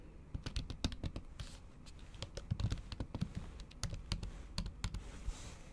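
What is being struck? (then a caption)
Laptop keyboard with thin plastic cover. Long acrylic nails tap and type on a MacBook keyboard covered by a thin pink plastic/silicone cover. Quick, irregular clicky taps come in bursts over a low, soft thud beneath each keystroke, with brief bright clicks that die away almost instantly.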